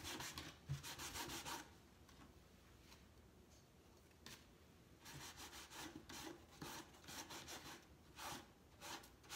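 A hand wipes and rubs a cloth over the grey-painted side slats of a large, empty, hollow painted wooden crate with an X-brace side panel. Bright, breathy swishing strokes come in bursts with a faint hollow low thump beneath them. The rubbing pauses into near-quiet partway through, then resumes in an uneven rhythm.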